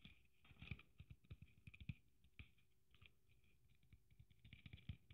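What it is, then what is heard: Sequin-covered Christmas ornament. Long nails scratch and tap a hand-sized red sequin-covered Christmas ornament with gold braid trim and a metal cap. Soft clusters of quick, dry taps and rustling sequin scratches come in bursts, each with a low thud and a bright crackle. A quiet pause falls in the middle.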